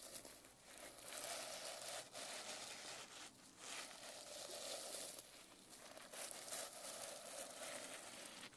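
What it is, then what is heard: Sequin-covered notebook being rubbed. A palm and nails rub and swipe across the sequins of a reversible sequin-covered notebook cover. The result is a steady, bright, crinkly rustle and scratch, with a few brief dips between strokes.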